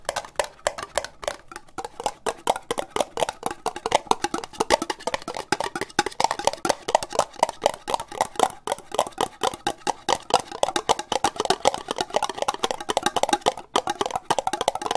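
An empty, hollow orange ribbed plastic cup, held sideways, is tapped fast with nails and fingertips, giving a continuous stream of quick, dry clicks for the whole 15 seconds. Each tap is short and hollow with a knocking tone around 770 Hz and a little bright edge, dying away almost at once, with little low end.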